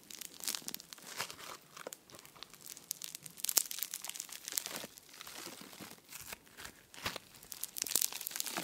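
A handful of soft, solid pink foam slime (floam) with tiny polystyrene beads is squeezed and pulled apart by fingertips close to the microphone. The result is dense, bright, crunchy crackling in uneven bursts of sharp little snaps and crinkles, with almost no low end.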